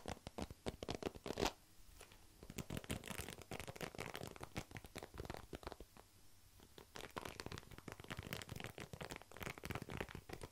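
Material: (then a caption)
Plastic. Fingertips and nails pluck and scratch along the plastic pin bristles of a black plastic paddle hairbrush with a solid head, held beside the microphone. A dense run of quick, dry scratchy clicks and rasps rises and falls through the clip, with a louder burst near the start and a few quieter stretches.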